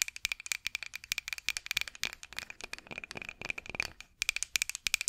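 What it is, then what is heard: Wooden rolling pin. A solid, light wooden rolling pin with handles, held horizontally over the mic, is scratched and tapped with long acrylic nails. The result is a rapid, dry run of short, bright clicks and taps that stop almost instantly, with a steady ringing tone near 2.4 kHz. There is almost no low end, and after a brief lull near the four-second mark the tapping picks back up.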